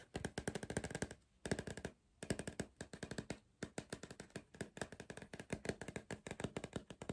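A hollow cardboard Pringles crisp tube is held in one hand while the fingertips of the other hand tap rapidly on its printed side throughout. The result is dozens of short, dry, hollow taps with a low resonant body around 190 Hz and very quick decay. They come in fast bursts broken by brief pauses near 1.2, 2 and 3.6 seconds.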